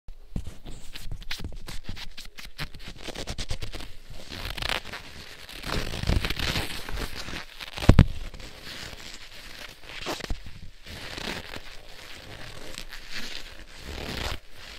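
A pair of thin black leather gloves is worn on both hands while the gloved palms and fingers are rubbed and squeezed against each other. The leather-on-leather friction gives a dense run of crackling, creaking and scratchy rustles with a deep low-end body. A sharper crackle stands out near the middle.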